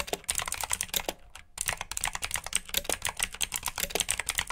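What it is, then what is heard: Mechanical keyboard with clicky switches. Fingertips with short nails type rapidly on a full-size black plastic mechanical keyboard with RGB backlit keycaps, clicky blue switches and hollow key housings. Bright, sharp clicks and clacks come in quick bursts with a brief pause near the middle, each keystroke dying away almost instantly.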